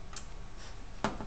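A marshmallow frozen in liquid nitrogen, hard and glass-like, is tapped, giving short, sharp ticking clicks over a low background hum. The clicks sound brittle and die away quickly; the marshmallow softens again as it warms.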